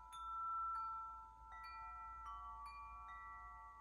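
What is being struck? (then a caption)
Metal tube wind chime. A hand-held wind chime of several long, hollow, dark patterned metal tubes hangs from a top ring, held up in one hand while the other hand strikes and shakes the tubes so they ring against the central clapper. Clear, bell-like metallic tones strike in succession and overlap, each sustaining and slowly fading over a faint low hum.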